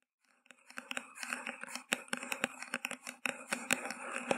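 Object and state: Paper cup tapped and scratched.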